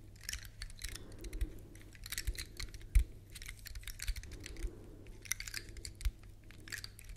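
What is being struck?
Woody pine cone.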